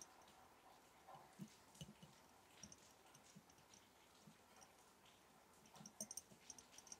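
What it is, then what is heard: Glass jar of matches tapped. A glass mason jar holding match sticks is tapped gently. Soft, scattered taps with short, bright glassy clicks sound over a faint hiss. The taps cluster more densely toward the end.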